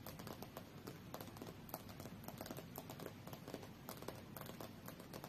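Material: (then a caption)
Glass. Long fingernails on both hands tap fast on the solid glass screen of a tablet lying face-up on a fur rug. The result is a quiet, steady stream of short, dry clicks with bright ticks over a soft low rumble.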